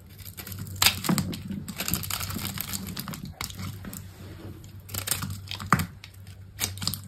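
A metal utility-knife blade carves and scrapes pieces off a solid green bar of soap with a textured face, held in the fingers, as soap chips fall onto a cloth. Crisp, crunchy scraping and shaving strokes with bright, crinkly edges come in irregular bursts over a low steady hum, with sharper cuts standing out at moments.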